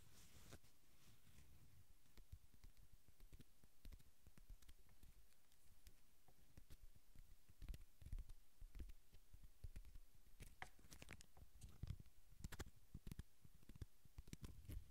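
A small, dark red, filled plastic/foil-laminate sauce packet is held near the recorder while fingertips tap, scratch and crinkle the flexible pouch. The result is a quiet, steady stream of soft, dull low taps and short dry clicks, with brighter crinkling bursts growing denser in the second half.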